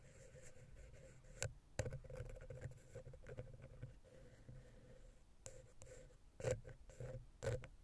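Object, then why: Metal microphone capsule scratched and tapped with a wooden pick. A wooden ear pick scratches and taps between the heads of a small, hollow silver metal X/Y microphone capsule on a Zoom H6. A dull, low, hollow scraping rumble runs throughout, broken by several sharp, bright taps that die away almost instantly.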